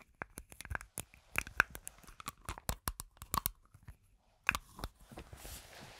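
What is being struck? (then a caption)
Metal aerosol can. A medium green, cylindrical, hollow, pressurised metal aerosol foam can with a white plastic cap is held in one hand near the microphone and tapped and scratched along its body with long nails. It makes a quick, irregular run of sharp, dry, crisp taps with a faint metallic ping, then a softer, bright scraping rustle near the end.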